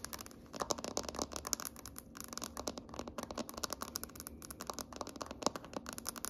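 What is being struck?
Wooden tabletop.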